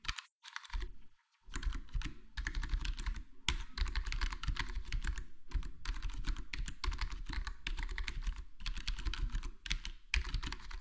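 Index fingertips tap one key at a time on a full-size black plastic HyperX Alloy Core gaming keyboard with square plastic keycaps and a foam-modded, foam-dampened case. The result is a steady, rapid stream of short, deep, muted clacks with a light bright click on top and no lingering ring. The typing pauses briefly near the start and dips a few times along the way.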